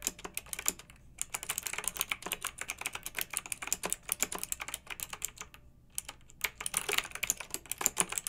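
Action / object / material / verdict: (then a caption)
tap / plastic mechanical keyboard keys / plastic / none. Long nails and fingertips of both hands type on a pink backlit plastic mechanical keyboard with round plastic keycaps. Rapid, bright, crisp clicks and clacks stream along, with brief pauses near 1 and 5.5 seconds.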